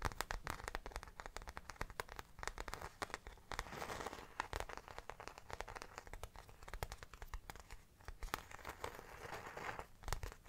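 Fingertips and nails quickly scratch and tap the plain grained back panel of a small round brown faux leather bag held in both hands. A dense, quiet stream of sharp dry clicks and scratchy crinkling rustles plays up close, with brief brighter flurries and no ringing between strokes.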